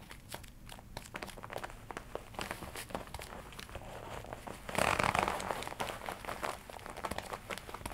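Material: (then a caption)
Leather. Fingertips rub, scratch and tap the black smooth leather chest panel of a worn red-and-black leather jacket. The result is a busy stream of soft crinkles and quick dry ticks, with a louder burst of scratching around the middle before it settles back to lighter tapping.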